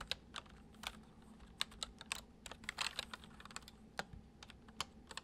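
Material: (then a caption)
Plastic. Fingertips of both hands tap steadily on a full-size white plastic MSI keyboard, with hollow keycaps over switches, resting on a wooden desk. A quiet string of sharp, bright clicks rings out, each dying away almost instantly, with a brief flurry of quicker keystrokes midway. A faint low steady hum sits underneath.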